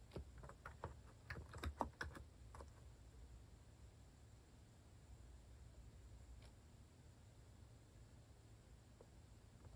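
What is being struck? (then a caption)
Plastic mechanical keyboard. Fingertips type on a compact white plastic-cased mechanical keyboard (Hanmumu) with orange and cream cat-themed plastic keycaps, resting on a wooden desk. About nine quick, short plastic clacks come in a burst over the first few seconds. The rest is quiet low hum with a couple of faint isolated clicks.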